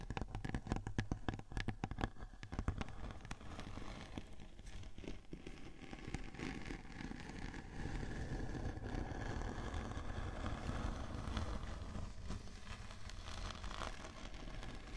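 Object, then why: Glitter-coated cardboard board. A large, flat, round silver glitter-coated cardboard cake board, thin and rigid and resting on top of a 3Dio binaural microphone, is scratched with the long painted fingernails of both hands. The first few seconds are sharp, separate scratchy strokes. These give way to a steady, dense, crackling scrape that stays low and muffled, heavy in rumble with little bright top.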